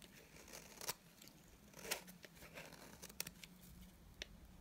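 A dry white bar of soap, held in the hand, has curls shaved off its face with a utility knife blade. Quiet, bright scraping and crisp cutting sounds arrive in short strokes, with sharper clicks standing out near 0.9, 1.9, 3.2 and 4.2 seconds over a low background hum.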